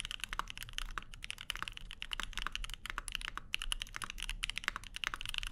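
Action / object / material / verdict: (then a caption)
tap / mechanical keyboard with aluminium plate and plastic keycaps / aluminium, plastic / none. Plastic keycaps on a 65% mechanical keyboard, a Keycult No 2/65 with lavender switches and an aluminum plate, are typed with the fingertips of both hands, and by the end only one hand remains on the keys. The result is a fast, steady stream of short, crisp clacks with a bright high edge and very little ring, over a faint low hum.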